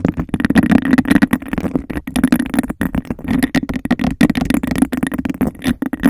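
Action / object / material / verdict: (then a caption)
tap / textured glass cup / glass / none. Long nails rapidly tap the base and scratch the textured sides of a clear, hollow glass cup held over a microphone. A dense, fast stream of short, dry taps and scratchy rasps carries a hollow resonance around 250 Hz, with almost no ring after each hit.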